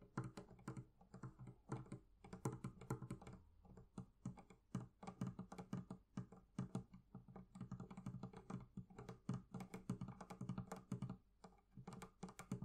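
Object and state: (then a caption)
Leather covering on a barrel chest. Fingertips tap rapidly and continuously on the leather covering of a barrel chest. The result is a dense patter of soft, dull, low thuds with brief clicky edges and almost no ring.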